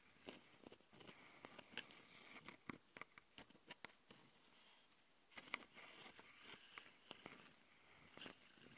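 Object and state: Plastic audio recorder scratched with fingernails.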